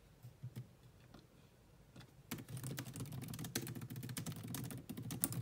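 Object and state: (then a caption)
Laptop keyboard with plastic keys. Long almond-shaped nails and fingertips tap on the low-profile black plastic chiclet keys of a grey laptop with a grey metal-look body. A few scattered, soft clicks give way after about two seconds to fast, continuous typing. The clicks are short and dry, with a low, muted thud beneath bright key clatter.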